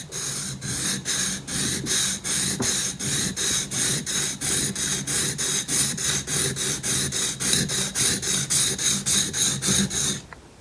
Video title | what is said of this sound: 【木彫り】独学では絶対無理！！彫刻刀の手研ぎをマスターしよう【木彫り初心者さん必見】Thorough explanation of hand sharpening of chisel! | 地金と鋼が両方と、きちんと研げていると、この2種類の音が混ざった音がします